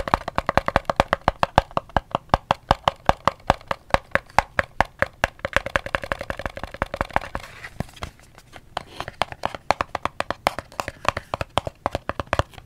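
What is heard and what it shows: Fingers tap a cardboard soap box in a quick, steady rhythm of short, dry, hollow clicks with a faint midrange tone. There is a brief pause just before the 8-second mark, then the tapping continues at the same pace.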